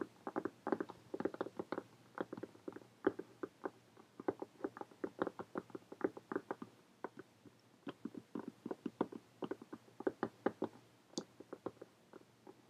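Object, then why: Faux leather hardcover journal. Long painted fingernails of both hands rapidly tap on a closed, brown faux leather hardcover journal lying flat on a table. About fifty quiet, dry, mid-pitched taps come in quick, uneven bursts, each dying away instantly with no ring.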